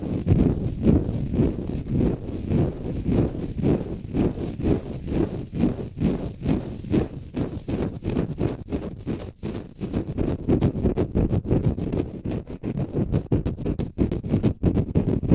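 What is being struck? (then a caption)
Konjac sponge puff. A green konjac sponge held in the left hand is scratched with the fingernails of the right hand. The result is a rapid run of soft, damp, muffled scratches that are heavy in the lows with almost no bright top, each stroke dying away at once.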